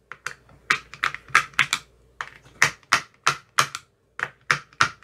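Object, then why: Plastic ice cube tray with silicone cups. A thin metal rod taps the cells of an empty clear plastic ice cube tray with green silicone cell bottoms. The result is an irregular series of short, dry, clicky taps, each with a bright attack centred around 1.6 kHz that dies away almost instantly, with very little low end.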